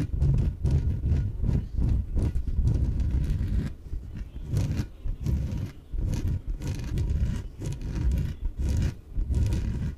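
Long nails tap and scratch the top and sides of a small, hollow, air-filled yellow inflatable PVC exercise ball. The result is a steady run of dull, low, thumping taps and rubbing scrapes with almost no ring, clustered in uneven bursts with a few brief pauses.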